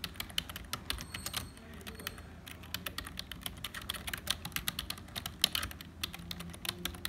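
Fingertips of both hands type on a black HP plastic membrane keyboard with hollow keys. A steady run of dozens of quick, bright, clicky keystrokes is heard, each dying away almost at once, over a faint low background.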